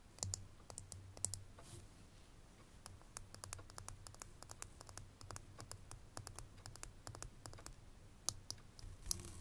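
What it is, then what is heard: Glass perfume bottle tapped with fingernails. Fingernails tap and scratch along the ridged glass of a small, full perfume bottle with a metal label band. Dozens of quick, dry, bright clicks and brief scratches come in irregular bursts over a steady low hum. Each tap dies away almost instantly.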